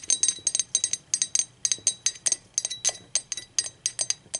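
Long acrylic nails tap the wall and rim of a hollow, empty, speckled teal ceramic mug as it is turned to different positions. Quick bursts of bright, clicky clinks come in irregular clusters, each ringing high and dying away almost at once.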